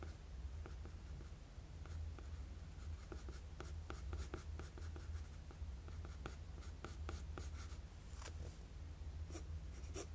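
A wooden graphite pencil scratches short, quick strokes across a flat sheet of drawing paper. Each stroke gives a brief, bright, dry scrape, heard over a steady low hum throughout.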